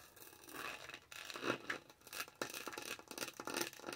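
Long nails scratch and rub across the top of a lavender plastic tumbler lid with a dotted snowflake texture, held close to the mic. The result is a quiet, dry, bright rasping with quick scritches and uneven bursts. There is almost no low end, and each stroke stops short with no ring.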